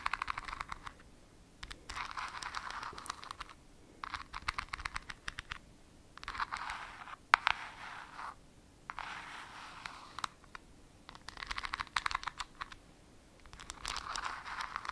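A small clear glass jar with a white plastic screw lid, filled with a greenish glittery product, is held in both hands and scratched with long nails. The sound is a dry, bright rasp with sharp little clicks, coming in about seven bursts separated by short quiet pauses.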